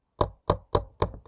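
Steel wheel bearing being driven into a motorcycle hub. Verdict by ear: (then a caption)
Not seated. A socket is hammered against a new steel rear wheel bearing to drive it into a motorcycle wheel hub. Five separate dull, short knocks sound with almost no ring. The dead tone means the bearing has not yet bottomed out in its seat.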